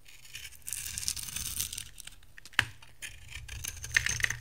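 A metal box-cutter blade scrapes shavings off the face of a dry, solid rectangular brownish bar soap with a green outer layer, held in hand. Dry, bright, scratchy rasping comes in uneven bursts, with a sharp click near the middle and crisper scrapes toward the end.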